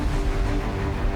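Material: Nothing is struck.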